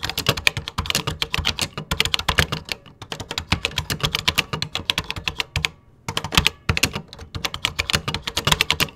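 Fingertips type quickly on the beige plastic keys of a 1980s computer keyboard. A dense run of sharp, bright clicks with little ring breaks into short pauses near three seconds and again around six seconds before the rapid typing resumes.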